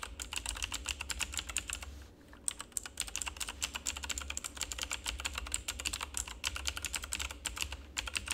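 Fingertips of both hands rapidly press and tap the keycaps of a full-size, backlit plastic RGB mechanical keyboard with a hollow housing. The result is a dense stream of short, bright clacks with a brief pause just after two seconds, over a steady low hum.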